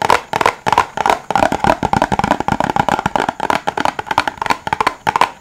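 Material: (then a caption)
Silicone. Fingertips press and pop the bubbles of a flat rainbow silicone pop-it fidget toy held in the hands, producing a rapid series of about 29 short, hollow pops. Each pop is dry and quick, with a muffled midrange tone around 700 Hz and little low or bright content.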